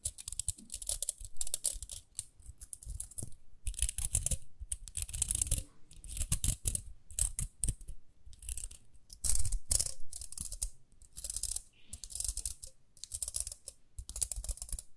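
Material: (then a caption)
Plastic. Long nails scratch and tap the rim and bristles of a small, round pink plastic hairbrush. Bursts of bright, dry scratching alternate with soft, low taps in an irregular, close-up rhythm with brief pauses.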